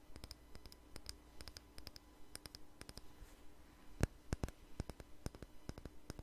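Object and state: Small jar tapped with fingernails.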